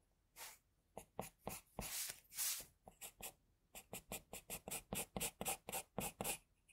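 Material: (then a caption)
Paper. An HB pencil scratches nose and mouth lines onto a sheet of flat white drawing paper. About twenty short, dry, bright scratchy strokes come in a quick, uneven rhythm, with two longer drawn-out strokes early on. The sound is quiet, and each stroke stops almost at once.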